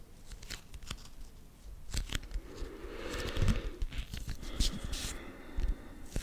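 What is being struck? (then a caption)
Laminated cardboard board book. Long nails and fingertips scratch and tap the glossy cover of a small, solid children's board book of thick laminated cardboard, a Winnie the Pooh "L'albero del miele" edition, held in front of the microphone. Crisp, dry taps and clicks mix with rasping, crinkly scratches, swelling into a denser scratching passage around the middle before more scattered taps.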